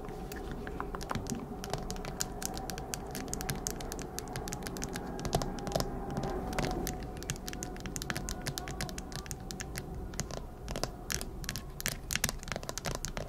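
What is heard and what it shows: Long acrylic nails tap and scratch the back of a smartphone in a hard plastic case with an anime print. Rapid, sharp, clicky taps come in a dense, uneven stream, mixed with light scratching over a steady low background hum.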